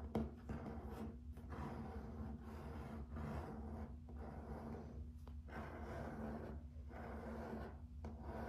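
Fingertips and short nails scratch and rub along the grain of a solid, flat grey and white wood-grain laminate plank floor. The quiet, dry scraping comes in repeated strokes separated by brief pauses, over a steady low hum.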